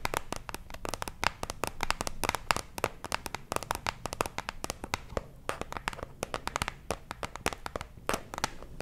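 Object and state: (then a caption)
Cardboard box tapped and scratched. A small printed cardboard box of Torriden sheet masks, likely hollow with mask packets inside, is held up close between two microphones and tapped and scratched with fingertips and nails. A rapid, steady stream of short, dry taps and crisp scratches comes through, each dying away almost instantly, with a papery midrange knock and bright edges over a low background rumble.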